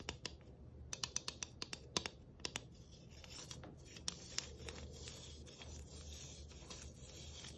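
A long fingernail taps and scratches the studded rim and surface of a flat, round galvanized tin Christmas ornament with tree cut-outs, held close. A quick run of sharp, bright metallic taps in the first few seconds gives way to a steady, hissy scratching with a couple of louder ticks, all quiet with very short ring.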